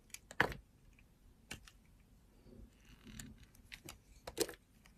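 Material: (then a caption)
Glycerin soap. A utility knife blade scrapes and carves a solid oval blue translucent glycerin soap bar held in the hand, curling off shavings. The result is a quiet series of short, crisp clicks and scraping ticks that stop quickly, with soft, faint shaving sounds between them.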